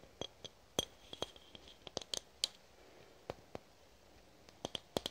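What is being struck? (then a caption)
Aluminum spray can. A red aluminum spray can, held horizontally, is tapped and clicked with long nails in an irregular series of sharp, quiet taps. Each tap is a bright, metallic clink with a faint high ring that dies almost instantly, leaving brief gaps of near silence between hits.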